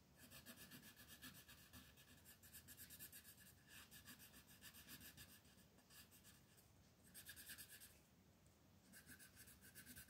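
A teal colored pencil scratches and rubs back and forth across a paper coloring page lying flat on a table. Quick, bright, raspy strokes repeat at about four per second, easing off briefly twice before picking up again.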